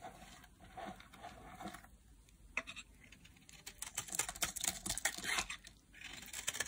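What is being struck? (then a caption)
Bar soap cut with a metal blade. A solid orange dry bar of soap is picked up and carved with a metal blade, shaving it into flakes. Quiet, dry, bright scraping and crisp cutting strokes come in quick irregular bursts, with little low end and short, clipped decays.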